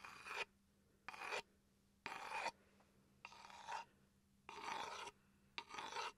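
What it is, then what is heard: Wooden chopping board scratched with a pencil. A wooden pencil rasps and scratches across a small solid wooden chopping board held upright close to the microphone. Short bursts of dry, bright scraping alternate with quiet pauses over a faint steady low hum.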